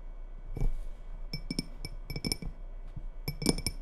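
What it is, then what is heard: Glass tumbler with water. Long red fingernails tap on the sides of a small faceted glass tumbler, partly filled with water and held in both hands. About ten light, clinking taps come in irregular clusters, each with a short, bright ring that dies away quickly over a faint low background hum.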